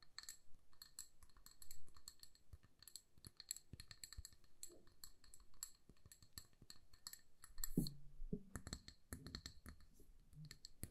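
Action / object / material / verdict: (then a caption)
tap / glass jar filled with candle wax / glass / none. A hand-sized amber glass jar filled with candle wax and wrapped in a paper label is tapped with long nails. Quick, light clicking taps come in steady bursts, each with a faint, bright glassy ring that dies away almost at once. A few duller, lower knocks stand out near the end.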